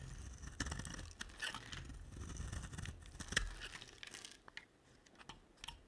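A utility knife blade carves and scrapes a solid, rectangular, cream-colored dry bar of soap held in the hand, with shavings falling away. Crunchy, crackling scrapes sit over a low rumble, broken by sharp, bright clicks around 1.8 kHz that die out almost at once. The scraping grows quieter and sparser toward the end.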